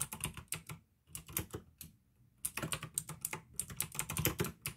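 Fingertips type on a pink AUKEY plastic mechanical gaming keyboard with blue switches. Quick bursts of sharp, bright key clicks with a low thock underneath stop for two brief pauses, then pick up again in a faster, denser run toward the end.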